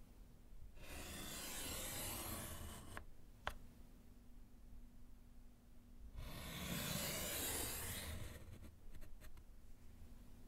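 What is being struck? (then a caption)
Slate chalkboard in a wooden frame, with chalk. A gloved hand scratches vertical lines with yellow chalk on a small solid slate chalkboard set in a wooden frame. Two long, bright, raspy strokes of broadband scraping are heard, separated by a quieter pause with a sharp click, and a few light taps follow the second stroke.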